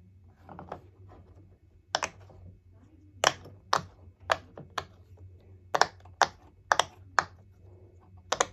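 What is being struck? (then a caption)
Silicone pop-it fidget toy. Fingertips press and tap the hollow raised bubbles of a hand-sized, rainbow heart-shaped silicone pop-it fidget toy lying flat on a wooden table. About twelve sharp, dry pops ring out at irregular intervals, each a short, bright click that stops almost instantly, with faint softer presses between them over a low steady hum.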